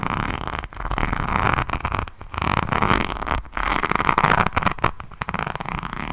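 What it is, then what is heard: Rhinestone-covered notebook. Long nails scratch across the resin rhinestone cover of a diamond painting hardcover notebook held close to the mic. The result is a dense, crackly, grainy scratching with a mid-range emphasis and brief pauses between strokes.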